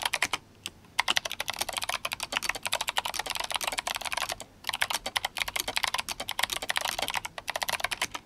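Fingertips of both hands type fast on an RGB-backlit GMMK Compact mechanical keyboard with clicky Kailh Box White switches and plastic SA keycaps. The result is a rapid stream of sharp, bright clicks that die out almost instantly, centered around 2.1 kHz with almost no low end, broken by brief pauses near half a second and just before five seconds.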